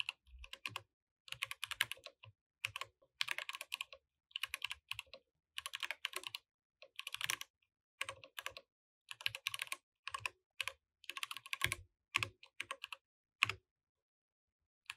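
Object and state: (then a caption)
Plastic mechanical keyboard. Fingertips of both hands type on a compact mechanical keyboard with plastic keycaps. Rapid, bright, dry clacking keystrokes come in bursts separated by short pauses, centered around 2.5 kHz, with almost no low end and no ringing after each hit.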